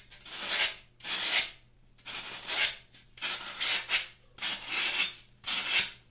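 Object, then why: Floral foam block scraped with a metal peeler blade. A solid green floral foam block, now getting smaller, is peeled with the metal blade of a plastic Y-peeler in six repeated scraping strokes, with shavings scattered on a pink mat. Each stroke is a bright, dry, hissing rasp that swells and fades, with short pauses in between.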